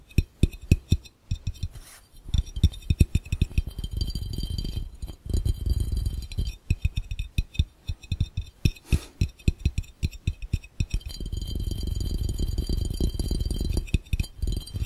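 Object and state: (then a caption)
Glass fishbowl. An empty clear glass fishbowl held over the camera is tapped quickly with both hands, fingertips and nails drumming on its curved glass base. The taps land as dull, low thumps with very short decay and faint bright glassy clinks. They alternate between spaced-out bursts and dense, continuous rolls of rapid drumming, especially near the end.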